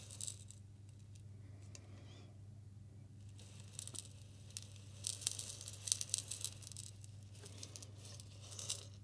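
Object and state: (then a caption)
Glass jar of salt being shaken. A medium glass jar with a white plastic lid and a green coconut-oil label, partly filled with pink salt crystals, is held in both hands near the ear and shaken so the salt rattles inside. Soft, bright, gritty rattling comes in brief bursts, growing busier and louder around the middle before easing off, over a steady low hum.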